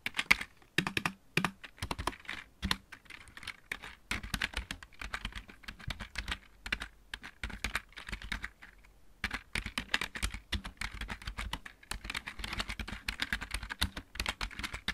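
Fingertips type on the right-side keys of a full-size backlit plastic mechanical keyboard, then both hands move to the main keys. The result is a dense stream of short, bright, clicky taps with little ring and a faint low thump. There are brief pauses, including one near the middle.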